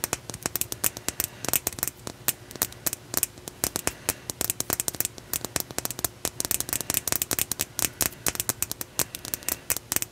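A solid opalite glass crystal point, held horizontally in both hands, has its smooth faces tapped and scratched with long nails. Rapid, bright, crisp clicks and scratches come in quick irregular bursts, each dying away almost instantly over a faint steady low hum.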